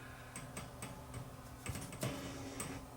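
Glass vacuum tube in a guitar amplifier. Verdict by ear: Microphonic.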